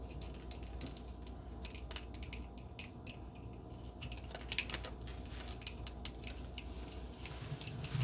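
Long glittery nails scratch and tap along a thin, solid red painted wooden pencil with a white heart print, held in the fingers. Many quick, dry clicks and scrapes sound bright and high over a low background hum, with a few sharper taps standing out. Each tap dies away almost at once.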